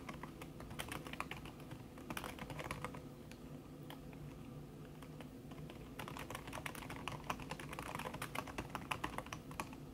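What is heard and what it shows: Fast fingertip and long red-painted nail typing on a thin backlit aluminium keyboard whose plastic keys sit under a red silicone skin. The result is a steady run of soft, damped taps with brief bright clicks, each dying away almost instantly over a low background hum.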